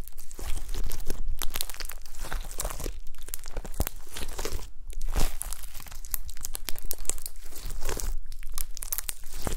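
Long pastel-nailed fingertips press, poke and squish a soft, solid mound of gold shimmery glitter slime on a white table. The sound is a steady run of crackly, crinkling squelches and sticky pops with bright crisp detail over a low rumble.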